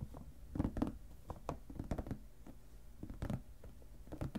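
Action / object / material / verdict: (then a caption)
tap / plastic storage box lid / plastic / none. Fingertips and short nails tap and scratch the lid of a shoebox-sized clear plastic storage box, full of papers and ephemera, lying on a cutting mat. The result is an irregular series of quiet, dull, low taps with brief soft scratching strokes, each dying away almost at once.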